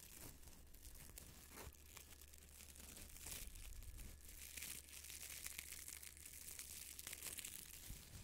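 A small, soft and airy yellow-green nylon mesh pot scrubber is squeezed, crinkled and rubbed with the fingertips. It gives a steady, close crackling and crinkling with bright, hissy bursts, over a constant low hum.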